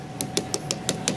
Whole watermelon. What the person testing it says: see how hollow it sounds that's what you're looking for